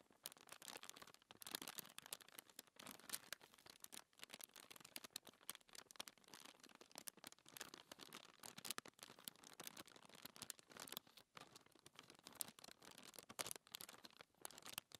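Long nails and fingertips scratch and rub a flat, thin white paper sheet lying on a table. The result is a steady run of dry, bright scratching and rustling strokes, many quick and closely packed, with almost no low end.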